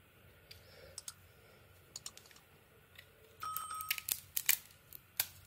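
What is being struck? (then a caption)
Soap bar cut with a small blade. A small blade shaves and scrapes curls off a rectangular solid purple soap bar with a white core, held in the hand. Quiet, bright, crisp ticks and clicks come at irregular intervals, then a louder stretch of steady scraping follows, with a faint thin ring. More sharp snaps close it out.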